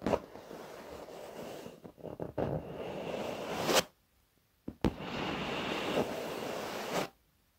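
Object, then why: Padded leather office chair. Fingertips and short nails tap and scratch across the surface of a black padded leather office chair, with both hands resting on it. A dense, scratchy rustling runs for almost four seconds and then stops in a brief silence. A couple of sharp taps follow, and the rustling returns until it cuts off near the end.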